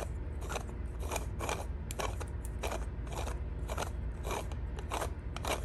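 A small black faceted plastic ball that looks 3D-printed, hollow and able to split into two halves, is held in both hands while long blue nails scratch and tap it and it is turned or shaken. Quick, bright, crunchy scratching bursts and light taps repeat steadily over a constant low rumble, with a loose rattle from the ball.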